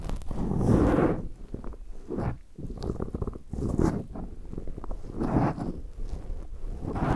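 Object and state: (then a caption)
Foam microphone windscreen being rubbed. A black round foam windscreen on a recorder is rubbed and scratched on both sides by latex-gloved fingertips. The result is close, muffled scratching and rustling, heavy in the low end, that swells and fades in uneven waves.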